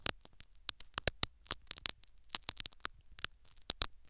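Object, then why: Foam sponge in a silicone ear microphone. Syringe needles jab and tear at a foam sponge plug set in the canal of a silicone ear microphone. It makes a rapid series of sharp, dry, bright crackling pops with scratchy tearing between them. The hits are very short with almost no ring, and there is little low end.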